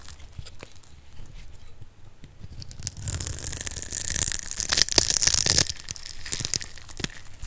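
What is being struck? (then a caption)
Bar of soap cut with a metal blade. A metal blade cuts a solid, rectangular yellow bar of dry soap, held in the hand, into small cubes. Crisp, crunchy scraping and crumbling sounds with bright, high hiss swell louder and denser from about three seconds in, then ease off toward the end.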